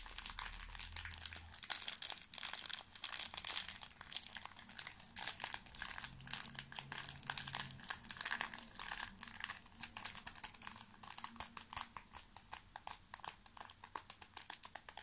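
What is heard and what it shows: A small, full pocket tissue pack in its thin plastic film wrapper is held in one hand and crinkled with the fingertips. Dense, rapid, bright crackling and crinkling continues throughout with many sharp, quickly fading clicks and almost no low end.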